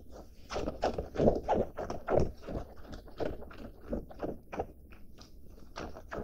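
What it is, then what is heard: Denim jacket being scratched. A medium-blue cotton denim jacket with stitched seams, held against the chest, is scratched and rubbed with fingertips and dark-painted nails. Quick, irregular scratchy strokes rasp across the soft fabric, each short, dull and mostly low to mid in tone, with a faint, steady swish between them.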